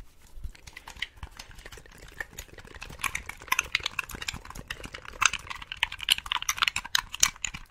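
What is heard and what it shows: Long pink acrylic nails rapidly tap and scratch the shell and buttons of a hollow, handheld-size black plastic Xbox-style game controller held in both hands. The result is a fast, dense stream of bright, dry plastic clicks and scratchy ticks with almost no ring, growing busier and louder in the second half.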